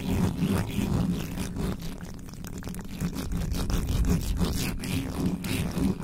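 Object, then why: Metal mesh microphone grille. Both hands cup the bare metal mesh grille of a black microphone with a hollow head, scratching it rapidly with the fingertips and the tops of long nails. The result is a dense, uneven stream of low, boomy rustling and scraping that sits mostly in the bass, with only faint brighter scratch texture on top.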